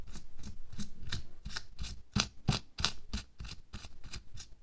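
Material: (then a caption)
Latex. Bare fingertips and nails scratch, rub and pinch a thin pink latex or nitrile glove worn on a hand resting on a white table. The result is a quick, somewhat uneven series of soft rubbery scrapes and squeaky pinches, about three per second, each a short bright rasp over a dull low thump. The material snaps quiet almost immediately after each stroke.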